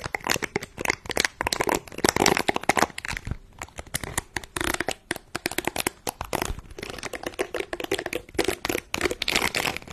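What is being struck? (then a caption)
Silicone scrubber pad with soft bristles. Fingertips and nails rub and scratch across the soft bristles of a small, round, flat, lime-green silicone scrubber pad held in both hands just above a microphone. The result is a dense run of rapid, dry crackling and crinkling ticks with bright highs, bursting and pausing unevenly with almost no ring.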